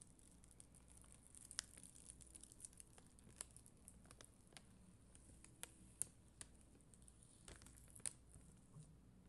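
A black mascara spoolie, held by a hand with long green nails, brushes across a flat sheet of red and clear acrylic gem stickers on white backing. The result is a quiet, steady, bright scratchy rustle broken by scattered sharp, dry clicks and ticks, over a low hum.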